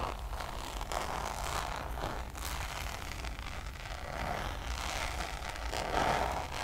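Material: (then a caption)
Coated canvas. Long nails scratch across the surface of a checkered coated-canvas Louis Vuitton zip pouch held upright. The result is a steady, dry scraping rustle with a low rumble underneath and brighter swells in the midrange, peaking near the end.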